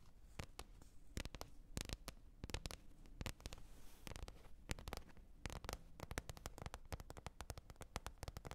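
A lid is tapped repeatedly in quick, irregular bursts of many short, dry taps that die away almost instantly. A steady low hum sits beneath the taps throughout.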